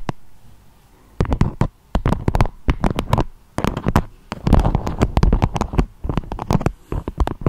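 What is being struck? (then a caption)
Beeswax-coated fabric wrap. Long acrylic nails tap and scratch a beeswax-coated fabric wrap with a strawberry print, shaped into a dome. Quick bursts of dull, crinkly taps come in clusters separated by short pauses, with a soft papery scratch underneath. Each tap is heavy in the low end and dies away almost at once.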